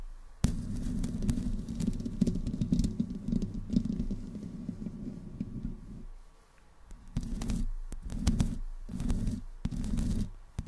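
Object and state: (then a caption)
Metal microphone grille being scratched. Long green nails on both hands slowly scratch the hollow metal mesh grille of a black desktop microphone with no windscreen. A sharp click opens a steady, deep rumbling scrape that runs for about six seconds. After a brief quiet pause, it returns in several shorter scratching bursts, with faint crackles on top.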